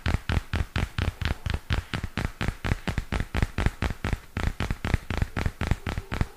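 Fingernails tap and scratch along the plastic cover and edge of a purple spiral-bound notebook held up in both hands. About 30 quick, dull taps come in an uneven, rapid rhythm, each thudding low and dying away almost at once, with light scratchy rasps in between.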